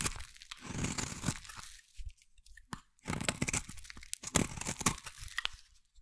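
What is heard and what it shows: A metal blade scrapes a solid, hand-sized green bar of soap into crumbly shavings. Dry, crunchy, tearing strokes carry a bright, scratchy texture over a low body, coming in two bursts with a quieter, sparser gap in between. The soap crumbles away as shavings.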